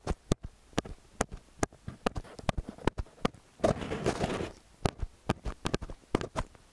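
Fingertips and nails grip, press, rub and tap the two silver capsules of a small hollow metal X/Y stereo microphone up close. Sharp, dry taps with low thumps land throughout, and a longer bright scratching rub comes in the middle.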